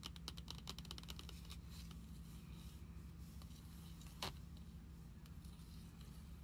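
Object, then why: Card binder with glossy plastic cover. Fingertips and long nails tap the glossy plastic front cover of a closed Pokemon trading-card binder with cards inside, lying on a wooden table. Quick, light clicky taps come in a rapid flurry at first, then thin out, with one sharper, louder tap partway through. A steady low hum runs underneath throughout.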